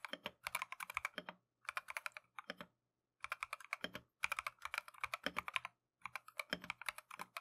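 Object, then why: Mechanical keyboard with plastic keycaps. A compact Keychron V1 mechanical keyboard with Tangerine switches and green and white plastic Matcha keycaps is typed on continuously with gloved fingertips. Quick bursts of crisp, bright clacking keystrokes are broken by short pauses. Each tap is short and dry, with almost no low end.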